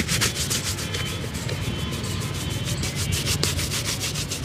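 A small wooden-handled brush scrubs one hollow, empty black leather dress shoe held in the hand, stroking across the upper and the sole. Rapid back-and-forth brushing makes a continuous bright, bristly rasp with a low hollow rumble underneath, steady in level throughout.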